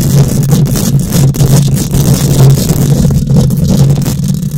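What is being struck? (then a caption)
Metal mesh microphone grille. Long nails scratch and tap on a bare metal mesh microphone grille, producing a continuous loud, rough rasping over a strong, steady low hum. Brief brighter scrapes and taps flicker across the high range throughout without clear gaps between them.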